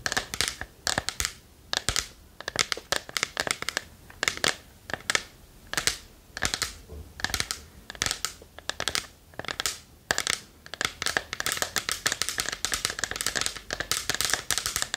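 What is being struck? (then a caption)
Small varnished wooden box. Long nails tap quickly on the front of a small, hollow, varnished wooden chest held in both hands. The result is a dense run of short, dry, bright clicks with almost no ring and very little low end, coming in rapid bursts.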